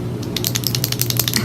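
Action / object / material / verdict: shake / plastic lip oil tube / plastic / none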